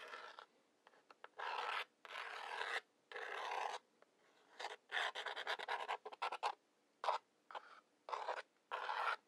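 Wooden match heads are scratched along the rough brown striker strip on the side of a large, hollow cardboard matchbox. The clip is a series of dry, raspy scrapes: some long, drawn-out strokes and some quick, short flicks, separated by brief quiet gaps. The scrapes have a papery midrange hiss with a bright edge and no low end.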